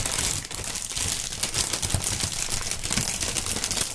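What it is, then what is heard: Plastic air cushion packaging film. A thin, clear plastic air-cushion packaging strip with green print is stretched between two gloved hands and crinkled and squeezed. Dense, bright crackling and rustling runs throughout, with soft low thumps underneath as the film is handled.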